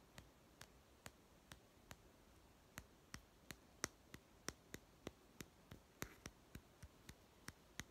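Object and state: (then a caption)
Plastic toy food tin. A small hollow plastic toy pet food tin, held sideways, is tapped on its white end and side with fingertips and short nails. Twenty short, dry clicking taps sound at an uneven pace against near silence. Each has a bright, crisp edge, a faint hollow tone around 330 Hz, and almost no ring.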